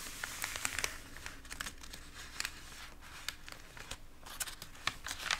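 Fingertips rub and press the warped pages of an open, water-damaged glossy paper magazine, then lift a page edge to turn it. The result is soft, bright crinkling and rustling over a steady low hiss, broken by sharp, short crackles that die away almost instantly.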